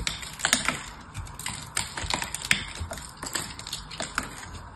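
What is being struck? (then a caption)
Dried soap bar. An elongated, hand-sized bar of dried soap coated in silver paint is held in one hand, gripped by long yellow-painted nails, while a small blade cuts and scrapes off its crust. The result is a quick run of crisp, bright crackling clicks and short scrapes over a faint low rumble, each snap dying away almost instantly.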